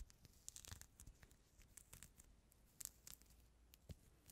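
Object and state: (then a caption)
Peeled mandarin being picked clean. Fingertips and nails pick and scratch the white pith and membrane off a small, solid, whole mandarin orange whose outer peel is already removed, held close to the microphone. Quiet, soft tearing and crinkling comes in short, bright, crackly bursts with faint low thumps. A few louder picks stand out from the steady scratching.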